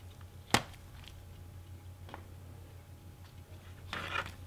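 Black-gloved hands hold a standard clear plastic CD jewel case for Rammstein's Herzeleid, about 14 cm across, thin and hollow, with a disc inside, turning it from front to back and then to the spine edge. Fingertips on the plastic give light clicks and taps: one sharp, bright click early on, a faint tap midway, and a cluster of soft rattling taps near the end. A steady low hum sits underneath throughout.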